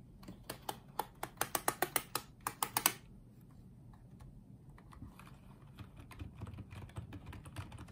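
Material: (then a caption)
Plastic. Fingertips type on the keys of a small pink and white plastic Apeach wireless keyboard, producing about 15 sharp, bright, distinct clicks over the first three seconds. The typing then drops to a quieter, softer patter of light taps across the rest of the clip.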